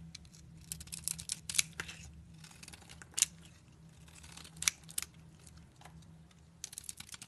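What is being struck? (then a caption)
Bar of soap cut with a knife blade. A utility knife blade shaves pieces off a solid soap bar with a red coating and white interior, held in a hand with long nails. Crisp, bright scraping and crackling strokes come in irregular bursts, with a few sharper snaps standing out over a faint low hum.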